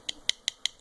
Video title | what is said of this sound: OBD honda civic prise 3 broches lecture defaut hondash | ça pèse rien ça sonne creux